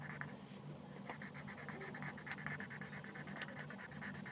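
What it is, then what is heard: Colored pencil on paper. A wooden colored pencil held in the fingers scratches and rubs over a thin printed paper coloring page lying flat on a table. The result is a steady, quiet stream of dry scratchy strokes with brief brighter ticks, over a faint low steady hum.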